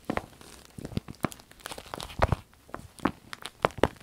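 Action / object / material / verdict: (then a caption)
scrape / soft vinyl zip pouch / vinyl / none. A small striped vinyl zip pouch is held and bent while fingernails scratch it and hands crinkle the soft vinyl. Irregular dry crackles and scratchy bursts come in quick, sharp clusters, each dying away almost instantly, with quieter rustling between them.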